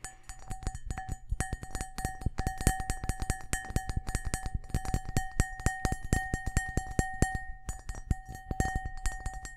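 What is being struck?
Cut crystal glass bowl.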